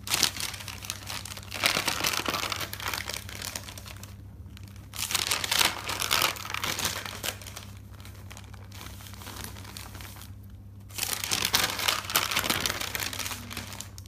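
A hand slides over and lifts the pages of a thick paper notebook resting on a table, turning them one after another. The result is a steady, bright papery rustle and crinkle, with louder swells at each page turn over a faint low hum.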